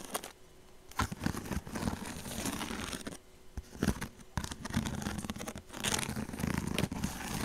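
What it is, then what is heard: Woven straw purse being scratched. Fingernails scratch along the woven edge of a hollow woven straw handbag held close, making dry, crinkly scraping and rustling with short crackling bursts. The texture is mostly low and warm with some bright hiss, coming in uneven waves with brief pauses.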